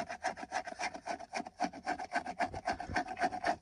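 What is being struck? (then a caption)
Textured plastic steering wheel airbag cover. Fingertips and nails scratch back and forth across the hollow, textured hard-plastic center airbag cover of a car steering wheel. It makes a steady, rhythmic series of short, dry rasping strokes, about three to four per second, with a bright tone around 700 Hz.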